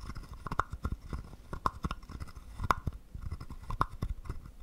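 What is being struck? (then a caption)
Carved wooden frog guiro. A wooden stick is scraped across the ridged back of a small, hollow, carved wooden frog guiro. It makes a run of short, dry rasps and clicks with a hollow wooden tone around 1 kHz. Each stroke stops at once with almost no ring, and some strokes are sharper than others.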